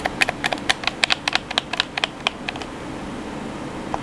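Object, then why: Plastic game controller buttons. Fingertips rapidly tap the buttons of a hollow black plastic PS4 controller, producing about 17 sharp, bright clicks with almost no ring. The taps cluster densely in the first two and a half seconds, then thin out to a final click near the end over a faint steady hiss.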